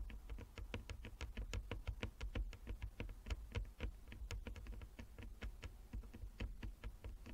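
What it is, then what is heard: Wooden chess board tapped with nails. Long nails of both hands tap rapidly across a flat wooden chess board with inlaid squares. The result is a quick, irregular patter of short, dry, clicky taps that stop almost instantly, over a steady low rumble, all at a soft level.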